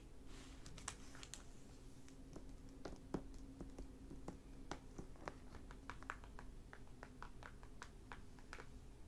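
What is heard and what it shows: Both hands tap quickly across a closed hardback library book, *The Half Brother*, lying flat on a wooden table, with fingertips and short nails striking its glossy plastic library cover over the paper dust jacket. The result is a soft, irregular run of short, dry, clicky taps with bright nail ticks that die away almost at once, over a faint, steady low hum.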